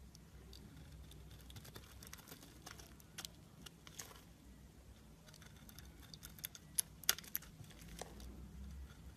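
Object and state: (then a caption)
Soap bar being shaved. A blade shaves curls off a solid, pale green embossed soap bar held in the hand. The quiet, crisp scraping and soft crackling run throughout over a faint low hum, with a few sharper bright clicks near the end.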